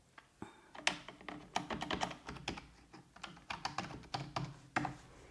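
Fingertips with long, red-painted nails type on a full-size black plastic computer keyboard resting on a wooden desk. The result is a quick, uneven run of short, dry key taps with bright clicky edges and very little ring.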